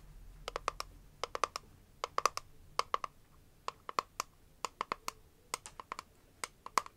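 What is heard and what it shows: Long nails tap and scratch the lid and sides of a small, square, clear hard-plastic case holding press-on nails, held in both hands. Around thirty sharp, dry clicks with a bright ticking edge come in quick irregular bursts, each dying almost at once over a faint, quiet background.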